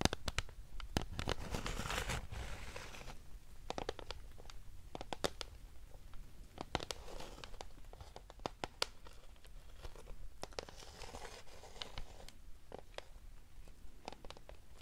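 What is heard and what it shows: Fingertips and nails tap and scratch the front and edges of a hand-sized, hollow, clear plastic PlayStation CD jewel case for Xenogears Greatest Hits. Quick, sharp clicks with almost no ring come in irregular bursts, mixed with soft scratching swells and a low, muffled rumble underneath.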